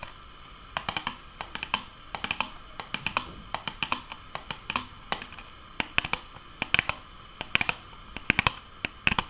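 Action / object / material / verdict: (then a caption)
tap / small cardboard box / cardboard / none. Fingernails tap and scratch the side and front of a small, hollow Nuggets cardboard box with an orange side panel that has punched holes. The result is a quick, irregular run of dry, bright clicks that stop almost instantly, with faint scratchy rustle between them and almost no low end.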